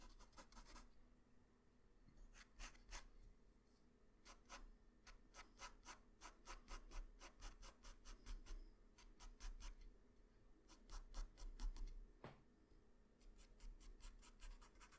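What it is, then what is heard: Pencil on drawing paper. A graphite pencil tip scratches short strokes across the face area of a flat, thin, solid sheet of white drawing paper. Quick, dry, bright scratches come in rapid clusters separated by brief pauses, over a steady low hum in a quiet recording.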